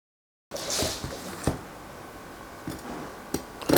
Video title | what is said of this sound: Cómo EVITAR un pan CORTO de FERMENTACIÓN | la del pan bien fermentado está super crujiente